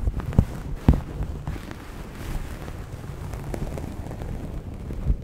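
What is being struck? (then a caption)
Knit fabric. Long nails and fingertips scratch and rub the weave of a soft grey knit cloth bunched close to the microphone. The result is a dense, muffled, low rumbling scrape with almost no bright content, and three sharper thumps stand out near the start and end.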